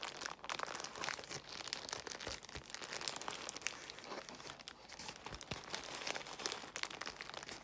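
Long nails scratch across a large bundle of clear plastic bubble wrap while fingertips squeeze the bubbles. The result is a steady, dense crinkling and crackling, bright and high with very little low end, scattered with sharp little snaps that stop almost instantly.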